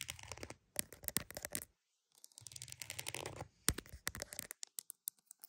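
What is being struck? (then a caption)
Croc-embossed purse. A croc-embossed purse is tapped and scratched up close, with bursts of bright, dry scratching and sharp tap clicks. A brief silence around two seconds splits the clip, and the sounds are short with almost no ring.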